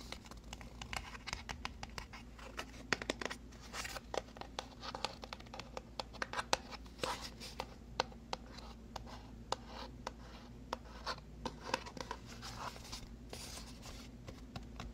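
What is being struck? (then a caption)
Small paperboard box. A small, hollow, rectangular white paperboard box for a macadamia oil product, held in both hands, is tapped and scratched with long nails along its faces and edges. Quick, dry clicks and papery scratching rasps come in a steady, irregular stream over a faint low hum. The result is a soft, close, crisp texture.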